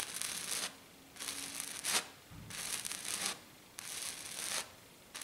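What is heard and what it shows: A hand with long black nails scratches fast across a flat, silver glitter-coated sheet. Bursts of bright, hissy scraping come in four strokes, one ending in a sharper rasp, with quiet pauses between them.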